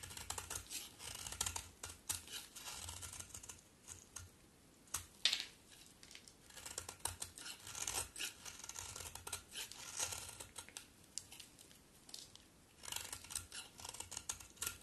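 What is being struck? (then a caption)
Bar of soap. A solid pink-brown bar of soap, held in the hand, is scraped and cut with a utility knife blade. Rapid, crunchy, bright cutting and scraping strokes come in dense bursts, with short quiet pauses between runs.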